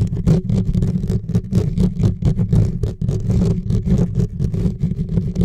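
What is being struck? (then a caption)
Metal mesh microphone grille. Fingertips and nails scratch and rub fast and hard on the bare, hollow metal mesh grille of a silver USB microphone. The result is a dense, boomy low rumble with a steady hum, broken by rapid bursts of bright, scratchy rasps that run together without pause.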